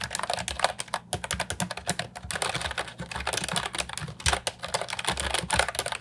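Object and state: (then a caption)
Plastic keyboard with round keycaps being typed on. Fingertips type steadily on an Ajazz 308I, a compact, hollow plastic keyboard with round, typewriter-style retro keycaps. It gives a fast run of short, clicky, bright clacks with a hollow low thump under them and almost no ring after each press.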